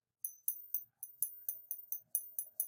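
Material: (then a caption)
Silver. A balanced 1940 US quarter and dime of 90% silver (junk silver) are tapped 11 times, each tap giving a bright, high metallic ping that fades quickly. The ring is short because the coins are small, but its tone is deeper, marking them as real 90% silver.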